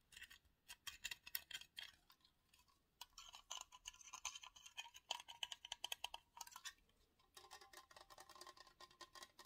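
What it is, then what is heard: Aluminium drink can. Fingertips and nails tap and scratch the top rim, pull tab and body of a hollow 355 ml aluminium energy drink can held in both hands, its fill level not visible. Rapid bursts of quiet, bright metallic ticks and scrapes with almost no ring and a tinny tone near 3 kHz come in three clusters, separated by short pauses around 2.5 and 7 seconds.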